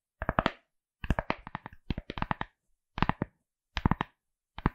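Long acrylic nails quickly tap and scratch a pink, felt-like fabric-covered hard glasses case with printed eyes, its rigid hollow shell held at the side of the mic. About 25 short, dull knocks come in quick bursts separated by brief silences. Each knock is a muffled hollow thud with a faint bright tick and almost no ring.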